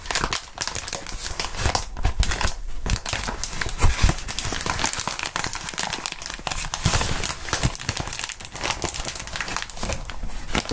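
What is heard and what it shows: Clear plastic bubble wrap is crumpled and rubbed by gloved hands close to the microphones. The result is a continuous dense crinkling and crackling with bright, sharp textures over a soft low rumble, and a few louder crunches stand out along the way.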